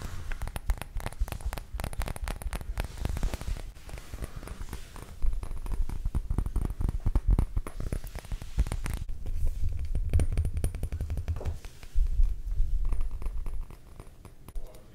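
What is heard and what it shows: A small clear glass perfume bottle with a round green cap, partly filled with liquid, is held close to the microphone. Fingertips and nails tap rapidly all around its glass body. The result is a dense run of short, dull clicks and knocks with a heavy low-frequency thump.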